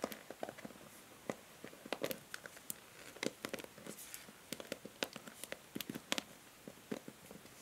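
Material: Plastic.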